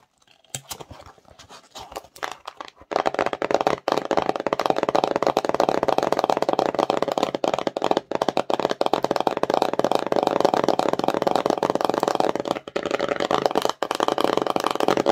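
Long nails and fingertips tap and scratch the front of a small, empty, glossy printed cardboard slime box. A few scattered, quiet taps in the first three seconds give way to dense, steady scratching and rapid tapping with a dry, papery, hollow crackle that continues to the end.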